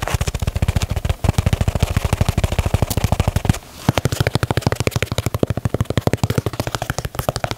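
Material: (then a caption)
Leather. Fingertips and nails tap and scratch the heel and side leather panels of a black and white leather Nike Dunk sneaker. The result is a fast, steady stream of short, dull, low-pitched taps, with a brief pause a little past the midpoint before the tapping resumes.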